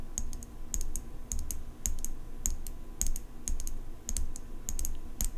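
Long pink nails tap the steel blade of an open folding pocket knife with an engraved metal handle, held horizontally. Irregular clusters of quick, bright metallic ticks, each with a brief high ring, sit over a steady low rumble.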